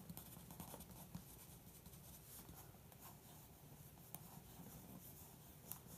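A graphite pencil tip traces over a printed bodybuilder photo and text on the thin paper pages of an open glossy magazine lying flat on carpet. Steady, soft scratching strokes sit over a low, dull rumble, broken by a few brief, sharp ticks.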